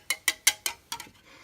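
Six sharp taps on the plastic blades of a Honeywell double blade fan assembly produce bright, hard clicks centered around 2 kHz that die away almost instantly. The blade set is sturdy rather than flimsy, made of a stiff plastic that is not very bendable but could break if bent.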